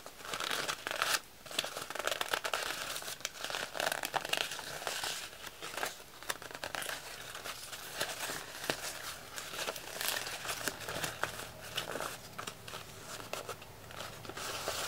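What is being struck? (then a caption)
Thin paper sheet. A sheet of thin red patterned wrapping paper is held close and crinkled and rubbed by fingertips, making a dense, continuous run of bright, crackly rustles with sharp crinkle bursts and very little low end. By the end, the paper is folded and bunched up.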